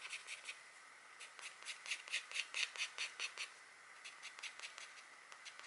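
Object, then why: Wax-coated scratch art card. A green stylus held by a long-nailed hand scratches short strokes into the deer drawing on a flat black, wax-coated scratch art card. About seventeen quick, dry scratching strokes come in uneven bursts, each a bright, thin rasp centered near 2.7 kHz with almost no low end and no ring after it.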